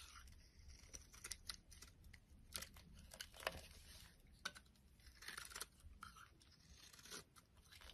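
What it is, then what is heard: Soap bar being shaved. A utility knife blade shaves curls off a solid oval purple soap bar held in the hand, and the curls pile onto a wooden surface. Quiet, crisp scraping and shaving strokes come in uneven bursts with a bright, dry texture and little ring, over a faint low rumble.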